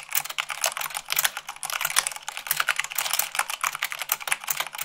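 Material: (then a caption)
Plastic. Fast two-handed typing with fingertips and long nails on white plastic keycaps of a black plastic mechanical keyboard, typing at 98 words per minute. The keys give a steady stream of crisp, bright clicks and clacks, each dying away almost instantly, with dense overlapping bursts and a faint low hum beneath.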